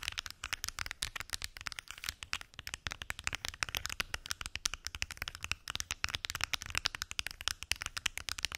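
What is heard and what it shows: Long acrylic nails tap rapidly on the lids of a large, hollow, translucent plastic weekly pill organizer with many small lidded compartments. The result is a dense, continuous stream of sharp, bright plastic clicks with very short decay and little low end.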